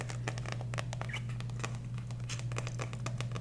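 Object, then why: Paperback book with card cover. Long nails, worn with rings, tap and scratch the card front cover of a small dark green paperback book, "The Flick," held upright in one hand close to the microphone. A rapid run of sharp, bright clicks and short scratchy strokes plays over a steady low hum throughout.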